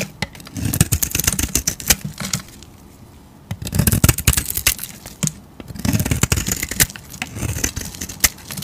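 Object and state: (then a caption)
Soap bar. A hand-sized, solid rectangular bar of soap with a dark painted surface and tan interior, held in a hand with long teal nails, is carved with a metal utility blade that scrapes and shaves off curls. The sound is dense runs of dry, crackly scraping with a low rumble underneath and a bright edge, separated by brief quiet pauses.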